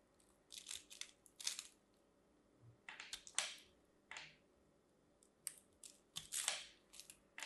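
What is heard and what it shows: A metal craft knife carves into a solid, hand-sized green and white striped bar of dry soap held in one hand, flaking off small cubes. Quiet, dry, crunchy cuts come in short, bright bursts of scraping crackle with almost no low end. Each cut stops quickly, leaving brief silences between.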